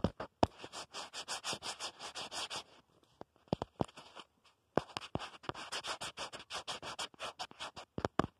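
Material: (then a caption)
Plastic. Fingernails scratch and tap the back of a black plastic phone case on a smartphone, around the camera bump. Rapid, rhythmic bright scratching strokes play in a steady run, pause for a few sharp, isolated taps, then resume. Short, dry clicks punctuate the start and end.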